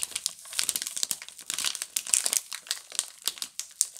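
A pink Camay multipack of solid bar soaps, wrapped in crinkly plastic film, is held in both hands and squeezed and rubbed with long glittery nails and fingertips. A steady run of sharp, bright crinkles and crackles fills the whole clip, with almost no low end.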